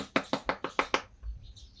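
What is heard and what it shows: A durian fruit is knocked six times in quick, even succession, giving short, dry, hollow midrange taps with almost no ring, followed by a faint low thump and quiet noise. The fruit is unripe, since an unripe durian sounds different from a ripe one when knocked.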